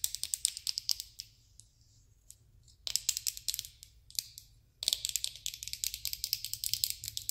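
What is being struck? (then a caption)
Clear plastic pen barrel filled with beads. Long red acrylic nails tap and scratch a slim plastic glitter pen held close, its clear barrel full of small pale beads or glitter and fitted with a metallic tip. Quick, bright, high-pitched clicks and scratches come in dense bursts, with almost no low end. The clicks pause into near silence for about two seconds, then return in quick clusters, dip briefly, and resume in a steady patter until the end.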